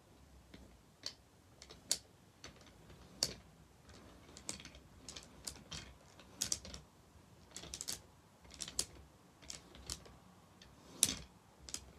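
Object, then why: Wooden bead abacus. Fingertips sweep and flick the painted solid wooden beads (red, yellow, green and blue) along the thin metal rods of a children's abacus with a light wooden frame, knocking them against each other and the frame. Short, dry, bright clacks arrive at irregular intervals, sometimes in quick clusters, over a quiet background and die away instantly.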